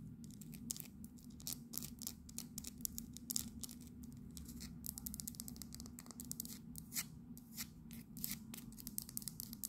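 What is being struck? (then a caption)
Small resin fridge magnet. A small solid resin Houses of Parliament fridge magnet is turned over, and its base and back are tapped and scratched with long nails. Quick, bright, dry clicks and scratchy rasps come in fast irregular bursts over a steady low hum. Each tap is short and dies away almost at once.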